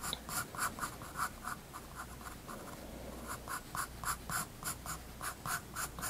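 A graphite pencil scratches short line strokes on a page of a spiral-bound paper sketchbook resting on a wooden desk. Quick, dry scratching bursts repeat at a steady drawing pace, each with a bright, papery hiss, over a faint low background hum.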